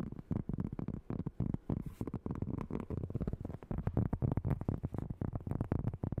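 A large, round, flat, solid cork board is held up and rapidly tapped and scratched with long nails and fingertips. The result is a fast, irregular stream of dull, low, muffled thuds and rubbing with almost no high-frequency brightness and very little ring.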